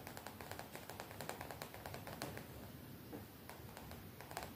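Long nails tap and scratch a colorful graphic-print cotton t-shirt worn on the body, right up close. A quiet, steady run of soft, quick fabric taps with brief bright clicks sits over a low, continuous rustling scratch.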